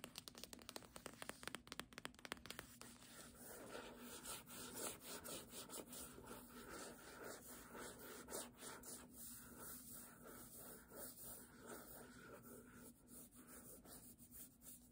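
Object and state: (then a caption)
Hardcover book with paper dust jacket, scratched. Long nails rub and scratch the spine and page edges of a hardcover "Doggerel" book with a paper dust jacket. Quick, sharp, crisp scratches open the clip, then settle into a steady, soft papery rasping and rubbing.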